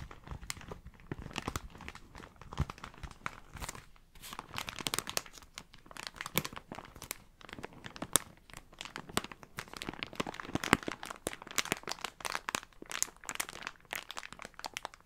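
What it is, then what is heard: Plastic bag. A thin, printed blue and black plastic bag is crinkled and squeezed by both hands close up. Dense, continuous crackling and rustling fills the clip, with sharp, bright snaps and brief pauses between handfuls.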